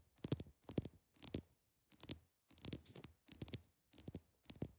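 The tips of long acrylic nails tap on the top of a large, solid, clear ice block. Eight short bursts of quick, sharp taps are heard, each tap a bright, dry click with a soft low knock beneath it that stops almost at once. Brief silences fall between the bursts.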